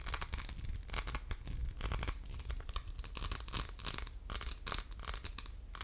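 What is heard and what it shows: Fingernails scratch across a hollow orange faceted glass soap dispenser with a diamond pattern and a metal pump. The result is a steady run of dry, bright rasping strokes over a low rumble, rising and falling in quick bursts with almost no ring after each one.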